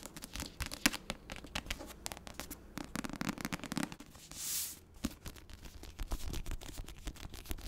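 Long nails scratch and tap the front cover of a paperback of The Secret History, a cream textured card cover over a solid paper block. Dense dry scratching is broken by quick sharp taps, with a brief smooth bright swish near the middle.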